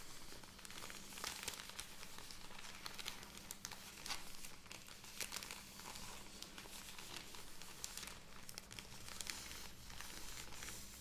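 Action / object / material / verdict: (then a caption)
scrape / soft plastic film bag of cotton pads / plastic film / none. A full, soft plastic film bag of cotton pads is held upright and tapped and scratched with long red nails, then squeezed so the film crinkles. The result is a continuous, quiet stream of bright crinkling and scratchy ticks with sharper taps scattered throughout, over a steady low hum.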